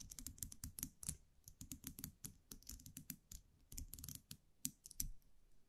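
A small wire champagne cork cage with a round metal cap is held in the fingers while long nails tap and scratch the cap. A rapid, uneven run of light, dry clicks and scrapes has a bright metallic tick over a soft low thump, each dying away almost at once.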